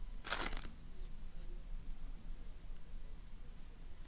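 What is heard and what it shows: A donut-shaped ring of floam, slime packed with polystyrene foam beads, is squeezed and pressed with fingertips and nails. A short burst of bright, crunchy crackling comes near the start, followed by faint scattered crackles over a low, steady rumble.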